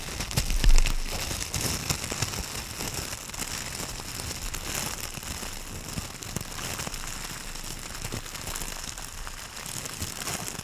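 A thin, loose sheet of aluminum foil is crumpled and crinkled between the hands and long purple nails close to a fluffy microphone cover. The result is a steady, dense crackling with irregular bright crinkles over a low rumble, beginning with a louder burst in the first second.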